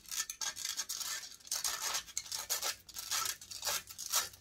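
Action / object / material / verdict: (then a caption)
scrape / metal mesh microphone grille / metal mesh / none. Long nails scratch rapidly and hard across the hollow metal mesh grille of a large silver condenser microphone, held close up. The result is a dense run of bright, raspy scrapes with almost no low end, pulsing in quick uneven strokes.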